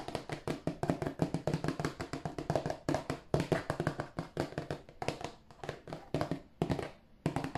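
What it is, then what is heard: Cardboard tissue box tapped. A glossy, hollow cardboard tissue box, held at an angle, is tapped and scratched with fingertips and nails on its side and end. The result is a rapid, uneven series of short, dry, low hollow taps with soft scratching between them, and each tap dies away almost at once.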